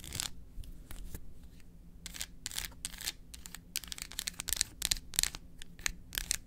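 Long acrylic nails tap quickly across the segments of a solid dark chocolate bar held in the hand. The result is a rapid, uneven run of sharp, bright clicks and scratchy ticks that stop instantly, over a faint low hum.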